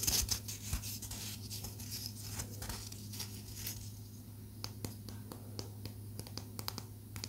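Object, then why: Small palo santo wood stick. A small solid palo santo wood stick is tapped rapidly and scratched with long nails. Bright, dry clicks and scratchy rustling sit over a steady low hum near 100 Hz. The first seconds are denser and scratchier, followed by sharper, more spaced-out taps.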